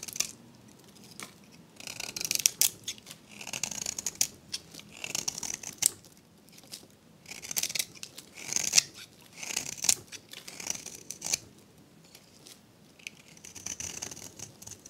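A metal blade scrapes and cuts curls from the surface of a hand-sized, solid pink-and-white bar of dried, varnished soap. Short bursts of dry, crisp, bright scraping and crackling come in repeated strokes, separated by brief near-silent pauses.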